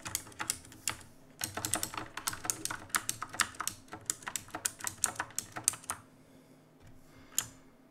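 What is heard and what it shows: Fingertips type and press keys on a black backlit mechanical keyboard with plastic keycaps, making rapid, bright, sharp clicks and clacks with very short decay. The typing runs steadily for about six seconds, then pauses before one last isolated key press.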